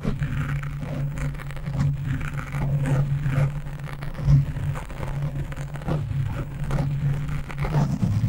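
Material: Foam.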